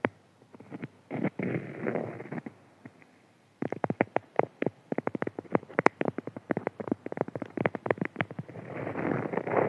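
Fingertips scratch a printed beeswax-coated cotton food wrap, then both hands press, crinkle and rub the stiff waxed fabric. Soft scratchy rustles give way after a brief pause to a dense run of sharp crackles and crinkles, ending in a steady rubbing hiss.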